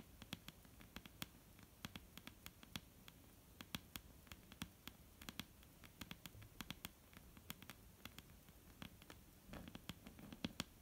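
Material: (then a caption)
Wood. Long painted fingernails of both hands tap a solid, dark brown wooden table top in quick, irregular bursts. Each tap is a sharp, bright click that dies away almost instantly, over a quiet low rumble and faint hiss. The taps grow a little louder and denser toward the end.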